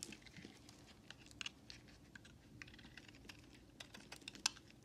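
A utility knife blade scrapes and carves small shavings off the corners of a solid white bar soap held in hand. Soft, bright, crisp scraping ticks and short crackles come in quick irregular bursts over a quiet low background. The loudest crisp snap arrives near the end.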